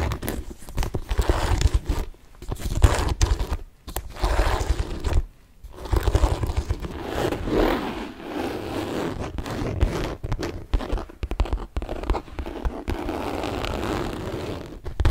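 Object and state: Saffiano leather handbag.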